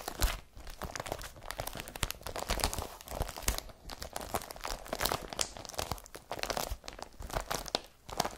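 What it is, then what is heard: Woven polypropylene carrier bag. A blue IKEA BRATTBY woven polypropylene carrier bag lies flat and empty while long fingernails scratch across its surface. The result is dense, continuous crinkly scratching and crunching with bright, papery rasps, coming in quick, uneven bursts throughout.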